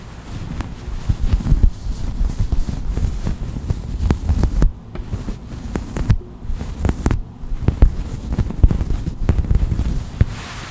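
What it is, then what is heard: Sherpa fleece blanket. Long white acrylic nails scratch and pluck at a soft white faux-sherpa fleece blanket laid flat. The result is a dense, low, muffled rustling rumble, broken by scattered short, sharp clicks and brief quieter pauses.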